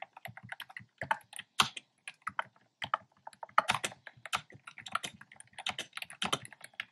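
Fingertips with short nails type on a black plastic keyboard with round, retro-style hollow plastic keycaps in cream, pink and red. It produces an irregular stream of short, clacky taps with a hollow low knock under a bright click, and each keystroke dies away almost instantly. Occasional bursts of quicker keystrokes stand out a little louder.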